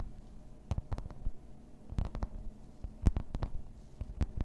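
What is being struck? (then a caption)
Thin embossed plastic placemat on a table. Long red nails tap and scratch across a thin, solid grey embossed plastic placemat lying flat on a table. A scattered series of short, dull taps lands with a low thump and a brief crisp click, each dying away instantly. Faint, soft scratching over the textured surface fills the gaps between them.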